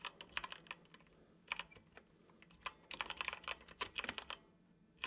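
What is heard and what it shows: Fingertips of both hands type on a dark plastic computer keyboard, producing quick, bright clicky taps in uneven bursts with short pauses between. Each keystroke is crisp and dies away almost instantly, with little low-end weight.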